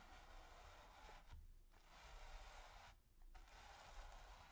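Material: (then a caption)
Canvas. A stiff bristle brush is scrubbed and scratched across a flat, taut, textured primed canvas. The result is a steady, quiet, dry rasping scrape with bright hiss, broken by two short pauses before the scratching resumes, over a low rumble.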